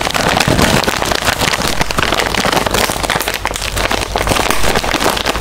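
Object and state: Foil snack bag being crinkled.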